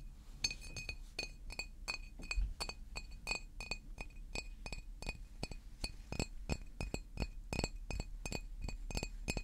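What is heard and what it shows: A large green glass water bottle standing upright is tapped with fingernails in a steady, uneven series of quick taps. Each tap gives a sharp glassy clink with a bright, high ring that dies away almost at once, over a low background rumble.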